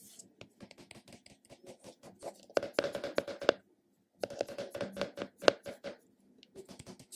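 A round purple plastic cosmetic container, held in the hand, is tapped on its recessed top and rim with fingertips and short nails. It gives rapid, irregular bursts of short, dry, hollow clicks with a mid-range tone and no ring, separated by brief silent pauses.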